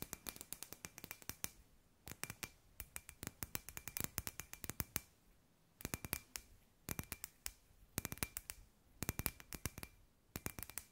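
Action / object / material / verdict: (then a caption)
tap / small hollow glass sphere / glass / none. A palm-sized hollow clear glass sphere with fairy lights inside, held in both hands, is tapped and scratched with long white nails. Quick, sharp, bright clicks come in rapid bursts separated by short pauses, each dying away almost instantly. A faint steady tone near 2.4 kHz sits under a soft, low background hum.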